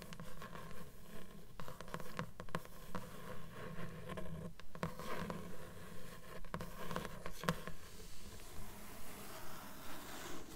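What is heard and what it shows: Long fingernails tap and scratch along the paper page edges of a closed blue book, a solid stack of pages. The result is a quick, fairly steady run of soft, dull taps, heavy in the low end with a faint papery scratch, each dying away almost at once.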